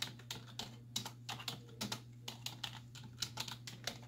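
Both hands with long white nails type quickly on a black plastic desktop keyboard with hollow keys, striking with fingertips and nail tips. About eighteen sharp, bright, hollow clicks come in quick succession, each dying away almost at once over a steady low hum.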